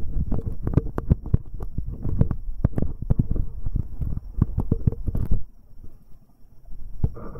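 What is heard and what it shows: A fingertip in a rubber finger cot rubs directly on the right metal capsule of a binaural microphone pair. This makes dense, muffled low thumps and scratchy brushing bursts heavy in the bass. The rubbing stops about two-thirds of the way through, leaving a quiet hush broken by one last soft bump.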